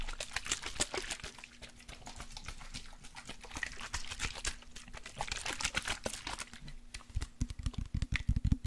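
A partly full clear glass bottle of orange body spray, with a lace print and a silver pump cap, is tapped with fingertips and nails and shaken. Quick, dry, bright clicks and ticks patter steadily over a faint low hum. Near the end the taps grow louder and denser, with heavier low knocks.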